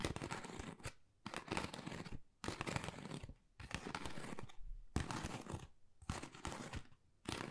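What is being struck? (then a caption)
Pebble-textured cardboard folder. Long nails scratch and tap a flat, pale pink, pebble-textured Dior cardboard folder, which is thin and hollow. The result is repeated bursts of dry, crackling rasps with a dull low thud in them, separated by short quiet pauses. Each burst stops cleanly with almost no ring.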